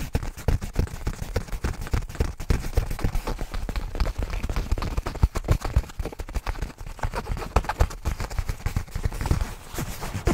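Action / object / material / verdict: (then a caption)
scrape / nylon fabric bag / nylon / none. Fingertips scratch and rub across a black nylon fabric bag held beside the microphone. The result is a dense, irregular stream of rapid, short scuffing thumps, heavy in low rumble with very little high brightness, continuing steadily for about ten seconds.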